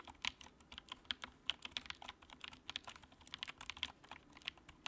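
Fingertips type on the keycaps of a compact white plastic mechanical keyboard with backlight, producing a rapid, steady stream of about 25 short, bright clicks and clacks. Each keystroke is crisp with almost no ring, and the sound is concentrated in the high range with very little low end.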